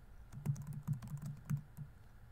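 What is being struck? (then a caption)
Plastic laptop keyboard keys. Fingertips rapidly tap the plastic keys of a laptop keyboard set in a grey laptop body while typing. The result is a quiet run of soft, dull taps with a low thudding body and only faint bright clicks, each stroke dying away almost instantly.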